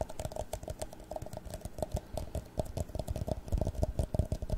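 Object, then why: Plastic drinking cup. An empty, hollow clear plastic drinking cup is held sideways and then upright and tapped with fingertips and nails along its side and rim. The result is a quick, uneven run of short, dry clicking taps, each with a soft, low thump and a faint hollow tone. They grow somewhat louder and denser toward the end.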